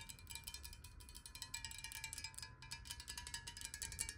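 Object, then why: Glass bottle partly filled with water. A clear, hollow square glass bottle, partly filled with water, is tilted and tapped rapidly with long nails. The result is a dense stream of quick, bright clicky taps over faint sustained glassy tones, with a soft low rumble underneath.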